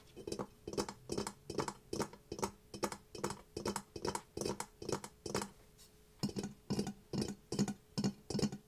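A ceramic mask is tapped in a steady rhythm of quick, clinking taps with a slightly glassy, bright edge over a low tone near 200 Hz. Each tap dies away almost at once. Roughly twenty tap bursts are heard, with a short pause just past the midpoint before the tapping resumes.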